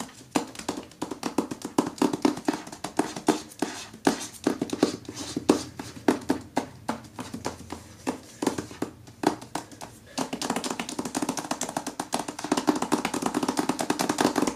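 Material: Paper, cardboard.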